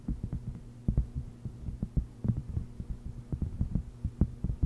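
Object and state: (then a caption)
Silicone honeycomb mat. Long red nails tap and scratch the textured surface of a thin, solid, flat round purple silicone honeycomb trivet mat lying on a fluffy microphone cover. The result is a quick, uneven string of dull, muffled low thumps with very short decay over a faint steady low hum.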